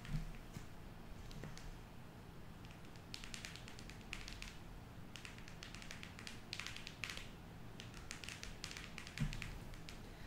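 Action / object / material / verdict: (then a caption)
tap / cardboard eyeshadow palette / cardboard / none. Long nails tap on a closed, square cardboard eyeshadow palette with a printed cover as it is held up and then laid on a table. Quick, dry, crisp clicks come in uneven bursts over a steady low hum, with a louder knock near the end.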